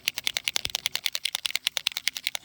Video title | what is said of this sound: Painting on Rocks and Glass Pieces with Posca Paint Pens - Easy DIY Project | You hear the ball inside shaking up all the paint.